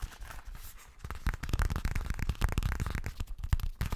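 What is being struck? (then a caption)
Zippered coated-fabric cosmetic pouch. A yellow zippered fabric cosmetic pouch, likely coated fabric and hollow, is held upright and tapped with fingernails. After a second of soft rustling, a fast run of dull, low, thumpy taps follows, each dying away almost instantly.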